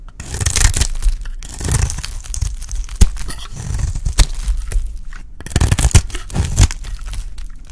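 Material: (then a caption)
Soap. A hand-held, dry, solid light-green rectangular soap bar is scraped and shaved with a utility blade. The result is a steady run of dry, crunchy scraping and tearing sounds with sharp crackles and low thuds, punctuated by a few louder snaps.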